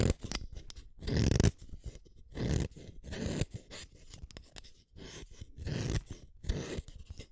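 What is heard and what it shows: A red wooden colored pencil, a small solid stick, is shaved one at a time by the metal blade of a yellow plastic hand sharpener, producing repeated rough, gritty scraping cuts in uneven bursts with a low, crunchy body and faint high crackle. The pencil is drawn out of the sharpener at the end.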